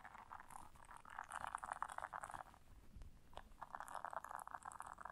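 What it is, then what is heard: Silicone scrubber pad scratched. Long nails scratch the bristles of a round blue silicone bristle scrubber resting on fur, making a dense, rapid scratchy rasp centered in the midrange with faint bright hiss above. The scratching comes in two busy stretches separated by a quieter pause near the middle.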